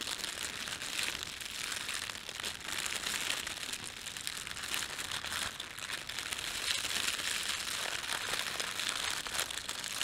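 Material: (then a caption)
Plastic film. Fingertips of both hands rub a thin, red printed plastic bread bag, then pinch and crumple the film. A steady, bright crinkling runs through the whole clip, crisp and high with almost no low end.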